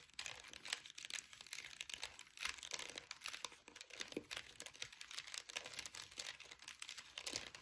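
Long acrylic nails tap and scratch the ridged sides of a small orange plastic air freshener jar with a flower-shaped lid, full of orange gel beads. The result is a quiet, steady stream of sharp, crisp clicks and scratchy crinkling, bright and high-pitched with almost no low end.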